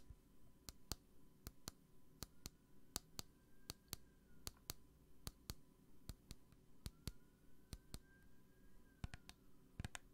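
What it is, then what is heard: Plastic hand sanitizer bottle. Long nails tap and click a small clear plastic hand sanitizer bottle with a green flip cap and gel inside, held close to the microphone. About 25 sharp, dry clicks come mostly in quick pairs, each dying away almost instantly. A faint, steady low hum and a soft gliding high tone sit underneath.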